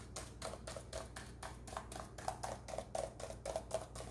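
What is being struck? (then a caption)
Plastic laptop keyboard keys. Rubber-gloved fingertips press and tap the plastic keys of a black plastic laptop keyboard in a typing-like rhythm. The result is a quick, uneven series of short, dry clicks with a soft midrange thump and a brief bright edge, all over a steady low hum.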